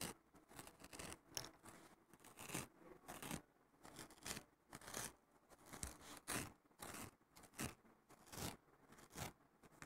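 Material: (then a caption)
Nylon. Fingertips and short nails scratch across the rough surface of a flat, thin, fibrous green abrasive nylon scouring pad lying on a wooden table. The result is a series of quiet, dry, bright scratching bursts with short pauses between the strokes.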